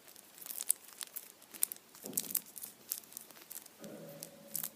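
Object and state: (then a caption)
Foil-wrapped chocolate Easter bunny. A Kinder chocolate Easter bunny wrapped in printed aluminium foil stands upright on a towel while fingertips rub and tap the foil. Quiet, bright crinkles and sharp little ticks scatter throughout. Two fuller rustling bursts with more body come near the middle and toward the end.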